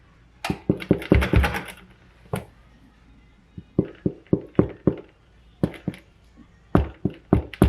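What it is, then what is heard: Hollow-sounding baked sourdough loaf (baked through). The bottom of a freshly baked sourdough loaf, just out of the oven, is tapped repeatedly in quick irregular bursts. It gives short, dull, hollow-sounding knocks with little ring. The hollow sound shows the bread is baked through.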